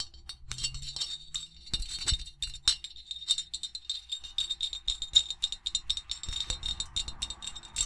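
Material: Ceramic.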